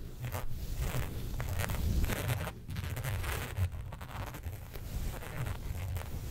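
Long nails scratch and tap the raised pattern of a flat black embossed faux leather sheet resting on a fur rug. The result is a steady run of dense, low rasping scrapes with soft taps mixed in, all close and muffled, with little high brightness.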